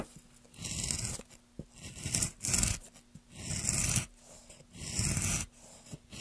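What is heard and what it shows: A metal gouge pushed by gloved hands peels long shavings along the grain of a solid, light wooden plank. Repeated rasping strokes combine a bright, hissy scrape with a low rumbling drag, each lasting under a second and separated by short quiet pauses. A faint steady low hum runs underneath throughout.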